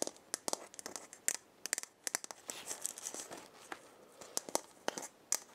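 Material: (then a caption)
Wood. A hollow, round wooden or gourd maraca head with burned markings is held in the hand and scratched with long painted nails. The result is a rapid series of sharp, dry scratching clicks and brief rasps, bright and high-pitched with almost no low end. Between the quick bursts there are short, softer scraping passages.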